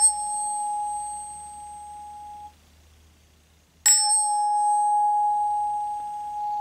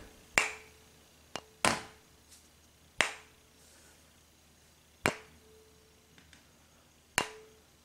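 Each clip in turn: First: aluminum tuning fork, clear sustained ring. Second: silver tuning fork, weak short ring.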